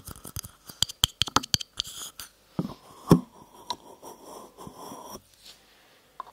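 A small, hollow, empty green polka-dot paper cup is held close to the mic and tapped and scratched with long nails. A quick run of sharp, bright taps gives way to a louder knock near the middle, then longer rough scratching across the cup's surface, ending with one last light tap.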